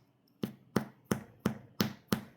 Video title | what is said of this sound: Making Amish Sandwhich Bread | If it sounds hollow, it's ready. Both of these sound very hollow.